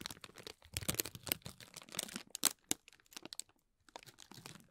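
Fingertips and nails press, rub and scratch the folded cells of a hollow green tissue-paper honeycomb ball. The result is a dense run of dry, bright crinkles and sharp crackles with no ringing. There is a short quiet gap near the end before the soft rustling resumes.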